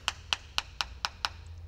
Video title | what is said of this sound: Full Build: Molding a classic 1969 Charger into the Perfect Hellcat | up here sounds like metal as you get over here ... sounds a a little bit like plastic